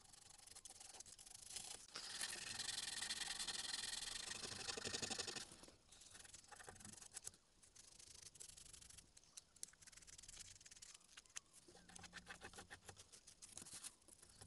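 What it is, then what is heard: Small carved wooden mask being sanded. A small, solid carved wooden Tengu mask keychain is held in one hand while fingertips of the other hand rub its surface with a small piece of sandpaper. The dry, bright, hissing sanding has a loud sustained stretch early on, then softer, quick scratchy strokes.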